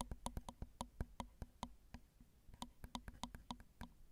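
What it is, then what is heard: Nail taps on a recorder's metal mic grille. Long acrylic nails tap the small, hollow metal mesh grilles of a Zoom recorder's XY microphone capsules, producing about twenty quick, dry clicks in an uneven rhythm. Each tap has a low thump with a brief hollow ring and a bright tick on top, dying away almost instantly. The taps are quieter and sparser near the middle before picking up again.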